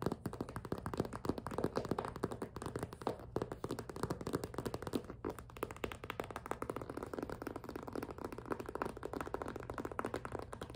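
Long pink nails grip and tap the thin plastic panel of a hollow, clear PVC zippered cosmetic pouch with pink trim. A steady stream of rapid, short, dry taps and crinkly grips runs throughout, with a low hollow body to each tap and little high-end brightness.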